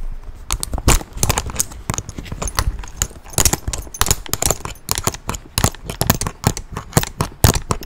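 Quick fingertip and nail taps on a tan leather satchel held close to the microphone make a rapid, irregular series of dull, clip-clop-like knocks. Each tap is short, with a crisp, brief click on top and almost no ring.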